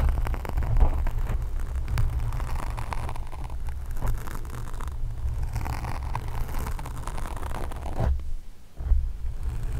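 Long acrylic nails scratch and rub a black foam microphone windscreen, with the hands staying on the foam throughout. The result is a dense, continuous, boomy scratching and rustling that sits heavily in the low end. It dips briefly near the end before picking back up.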